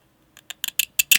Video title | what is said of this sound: The Camera Rings are Fake! (Galaxy S25 Ultra Durability Test) | el botón de encendido y el botón de volumen tienen ese sonido metálico de aluminio que todos hemos llegado a conocer y amar